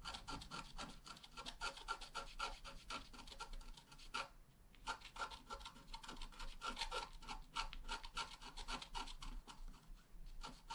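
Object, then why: Wax-coated scratch art card scratched with a wooden stylus. A wooden stylus scratches grass strokes near the bottom of a flat black wax-coated scratch art card. It makes a fast, uneven run of short, bright, raspy scrapes, several per second. The scraping pauses briefly around the middle, then resumes at the same quick pace.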